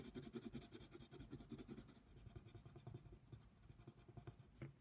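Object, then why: Colored pencil on a paper coloring book page. A yellow colored pencil scratches quick back-and-forth strokes across a flat paper coloring book page. The result is a soft, dry, uneven scratching texture with a low-mid body around 230 Hz and little high-end brightness.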